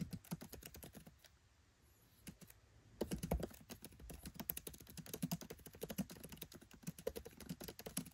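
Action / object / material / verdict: tap / laptop keyboard with plastic keycaps / plastic / none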